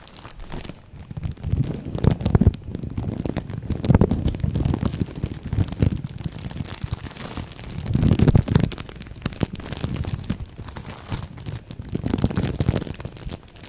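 A thin green-and-white printed plastic bag wrapped around a microphone head is crumpled and scratched with long nails. The result is a close, dense crinkling and rustling, heavy in low, muffled rumble with little bright content. It swells and fades in waves, loudest around 2, 4, 8 and 12 seconds.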